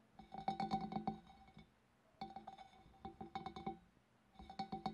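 Long black nails tap from above on the wavy rim of a large, hollow, empty clear glass fish bowl. Three bursts of quick, uneven taps each give a short bright clink with a ringing tone around 780 Hz, separated by near-silence.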